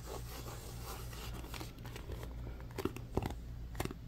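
Fingertips and nails scratch and tap the sides of a small, hollow white cardboard phone box. A soft, continuous papery scratching runs over a steady low hum, and in the second half several sharper, brighter taps stand out before quickly dying away.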